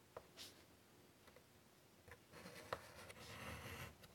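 A hand with pink nails draws curved lines with a white chalk stick on a large, flat, wooden-framed chalkboard lying on a table. Faint, brief taps and short scratches give way to a louder, continuous, bright, scratchy drawing stroke across the board's surface in the second half.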